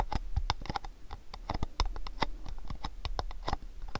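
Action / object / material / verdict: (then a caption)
tap / cardboard gift box / cardboard / none. Fingernails rapidly tap the front face of a long rectangular cardboard gift box held in both hands. The result is a quick, uneven patter of dry, short clicks, each with a dull low body, a bright tick, and almost no ring.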